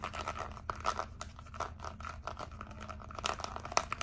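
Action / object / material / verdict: tap / plastic remote control with rubber buttons / plastic / none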